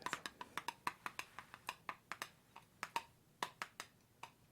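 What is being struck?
Jar of almond butter.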